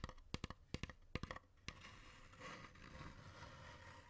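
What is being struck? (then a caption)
Hollow wooden incense box. A long, hollow, dark wooden incense box with painted mandala decoration is tapped on the lid with nails and fingertips, giving a quick, uneven series of sharp, short clicks with a low hollow body. The taps give way to a steady, bright scratching across the lid for the rest of the clip.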